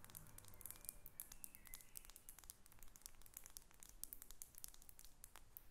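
Long red nails tap a faceted thick-glass perfume bottle as it is held in the hands and then set down on papers. The result is a quiet stream of quick, bright glassy ticks over soft paper crinkling and a low background rumble.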